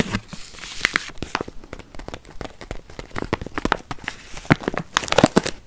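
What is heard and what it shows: A stand-up paper-plastic bag full of walnuts is crinkled and squeezed with fingertips, giving a dense run of sharp crinkling and crackling. The nuts shift and clack inside, with short bursts of brighter knocks near the end.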